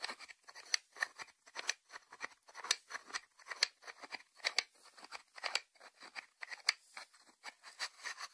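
Fingertips and short nails tap the closed lid of a small, round, hollow white ceramic salt dish resting on a wooden board. The result is a quick, irregular run of light, crisp clicks that are bright and high with almost no low end. Each click dies away almost instantly.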